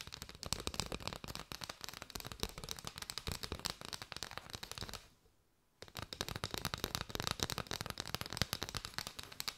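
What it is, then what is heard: Bundle of paper straws. A bundle of striped hollow paper straws is tapped and scratched with long white nails, producing dense, rapid, crisp clicks and brushing scratches with bright highs. The tapping pauses into near silence for about a second midway, then resumes at the same quick pace.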